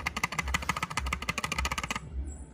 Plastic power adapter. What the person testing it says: when you shake it, you can hear something wiggling inside or shaking